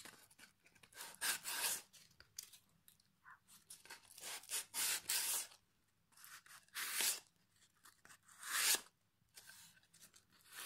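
A small piece of sandpaper held in the fingers is rubbed along the edge and face of a solid pine plank fitted with metal hooks. The result is a series of short, irregular, bright rasping strokes with quiet pauses between them.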